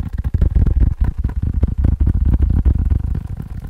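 A faux leather phone case is tapped quickly with uneven rhythm, making a steady run of soft, dull, muffled thuds. The sound is deep and low with almost no brightness, and each tap dies away almost instantly.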